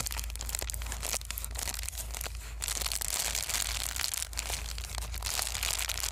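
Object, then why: Plastic bubble wrap sheet. A small white plastic bubble-wrap sheet of white foam is handled, unfolded and crumpled with the fingers. It gives a dense, continuous run of bright crinkling and crackling, with sharper snaps scattered throughout. A steady low hum sits underneath.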